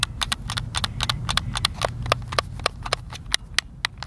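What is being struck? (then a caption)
Plastic game controller. Thumbs and fingertips repeatedly press and tap the face buttons of a white, hand-sized, hollow plastic Xbox controller held in both hands. The result is a quick, slightly uneven run of sharp, bright plastic clicks over a low background hum.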